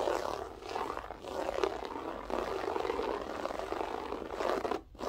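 Long acrylic French-tip nails scratch and claw at a flat beige carpet with a textured loop pile. The result is a steady, dense, raspy scratching with a crinkly midrange texture. It drops out briefly near the end before resuming.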